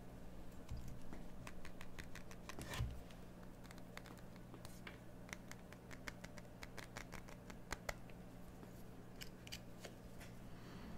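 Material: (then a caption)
Soap. A metal craft knife cuts and scrapes the surface of a solid cream bar of soap turned in one hand, with chips falling onto a dark table. Quiet, crisp, bright ticks and short scrapes come in an irregular string over a steady low hum.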